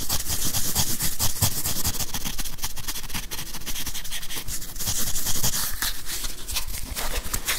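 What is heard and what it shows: Fingernails scratch and tap a grey whiteboard eraser with a plastic body and felt pad held close to the microphone. The result is a steady, dense run of scratchy rubbing and quick taps, with a heavy low thump and a bright, hissy edge.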